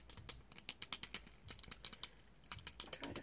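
Long green-painted nails tap a small pair of aviator sunglasses with a thin metal wire frame and red-tinted plastic lenses, held up in both hands and struck on the lenses and frame. The result is a quick, uneven string of light, bright clicks, each dying away almost instantly, with a dominant pitch near 3 kHz and little low end.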